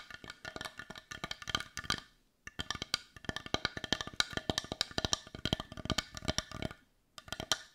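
Long nails tap quickly on the rounded back of a hollow, hand-sized, heart-shaped, dark brown wooden bowl. The sound is dozens of short, dry, clicky wooden taps with a bright edge and almost no ring. They come in rapid bursts, with brief pauses near 2.3 seconds and 7 seconds.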